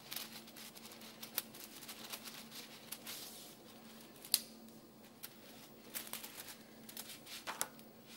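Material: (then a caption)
Dry pasta. A handful of uncooked dry spaghetti is held in both hands and rubbed, rolled and squeezed so the strands rattle against each other. The sound is a dry, bright, crackling clatter of brittle sticks with sharp clicks scattered throughout, and one louder snap stands out.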